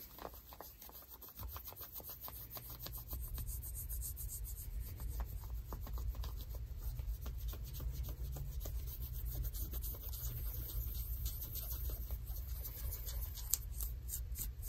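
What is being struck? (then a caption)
Denim jeans fabric. Long nails scratch dark denim jeans worn on the leg. The result is a steady, dense run of quick rasping strokes over a heavy low rumble, with faint bright fabric hiss above. The scratching grows slightly louder after the first second and a half and continues evenly to the end.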